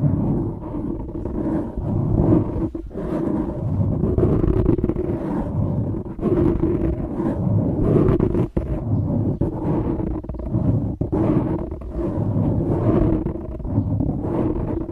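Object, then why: Foam microphone windscreen. Fingertips scratch and rub a dark grey foam microphone windscreen, making a continuous, close, muffled rumbling rustle. The sound is heavy in the low end with a steady scratchy texture around the midrange and almost no bright content, with a few brief dips where the rubbing pauses.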